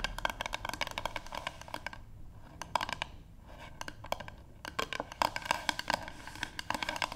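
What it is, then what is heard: Wooden paddle board tapped with fingernails. Long pink nail tips on both hands tap rapidly across a solid, light wooden paddle board, close up. Dense bursts of short, dry, woody clicks with a hollow knock around 950 Hz and a bright edge die away almost instantly. The tapping thins out briefly in the middle before picking back up.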